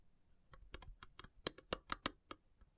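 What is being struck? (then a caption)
Carved wooden box lid. Long silver nails tap the top of the lid of a long, hollow, carved wooden incense box with a cut-out flower pattern and brass elephant inlays. A quick series of crisp, bright clicks sounds, each dying away almost instantly, with the loudest taps in the middle of the run.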